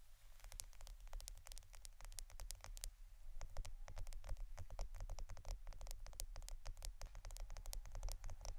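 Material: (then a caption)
Plastic. A roll of plastic adhesive tape is tapped and scratched with no talking, for ASMR. Rapid, dense, bright clicks and ticks are heard over a steady low hum.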